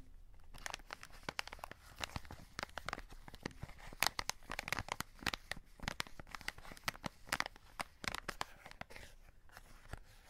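Fingertips and short nails scratch and crinkle a full cardboard chocolate box and its plastic window. Dense, dry crackles and sharp scratchy clicks come in quick bursts with a bright, papery edge. Each one stops almost instantly, and there is no speech.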